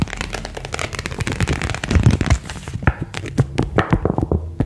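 A single thin printed paper card, held in both hands, is bent and snapped taut with the fingertips. It makes a rapid run of sharp, dry crackling snaps and crinkles that die away almost instantly. The sound is weighted toward a low thump, with little bright content.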